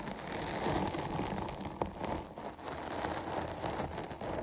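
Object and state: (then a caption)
Foam microphone windscreen. Long nails scratch the sides of a dark foam microphone windscreen held between both hands. The result is a steady, dense, crackly rustle, bright and broadband, with one sharp tick near the middle.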